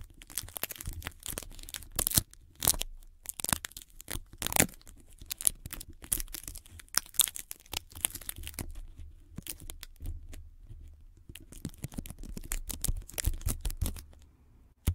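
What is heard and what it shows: Long glittery nails scratch and tap white sticky tape wrapped around a microphone held in both hands, while the fingertips press and peel the adhesive. This makes a dense run of sticky crackles, tearing peels and bright clicks over low, close thumps, in irregular bursts with short quiet gaps between them.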